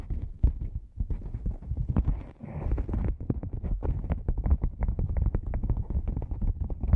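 A black padded nylon lens pouch, a hollow cylinder, is tapped first on its sides and then on its top with long nails and fingertips. It gives a fast run of soft, dull, low thumps with only brief clicky edges, much like muffled hoofbeats. Each tap dies away almost at once.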